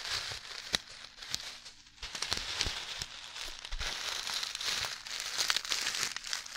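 A clear plastic zip-lock bag full of tiny red beads, held close to the microphone, is squeezed and tapped with long nails and fingertips. Dense, bright crinkling and crackling fill the clip, with the beads shifting and sharp, short clicks from the taps standing out.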